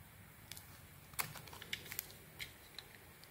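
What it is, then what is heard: Bar soap being shaved. A small metal blade shaves and scrapes thin curls off the surface of a solid, hand-sized, cream-coloured bar of soap held in one hand, with the shavings piling up underneath. Quiet, irregular, bright scraping crackles and short ticks stand out above a faint low background hush, each one dying away almost instantly.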